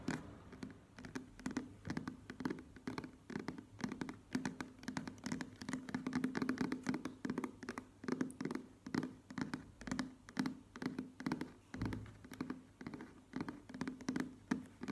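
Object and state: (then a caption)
Plastic squeeze tube. Long nails tap and knock on a plastic cream squeeze tube held upright, making a steady stream of quick, soft, hollow clicks with a low body tone around 250 Hz. The taps come in rhythmic bursts that swell and fade, and each dies away almost at once.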